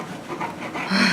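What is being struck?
Nothing is struck.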